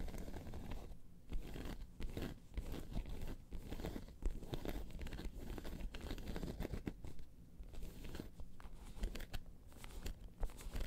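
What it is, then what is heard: Faux leather bag. Long pointed nails scratch and tap across the top of a round tan crocodile-embossed faux leather bag. The result is a dense, continuous run of dry, crackly scratching, broken by quick tapping bursts that stay mostly low and muffled with little brightness.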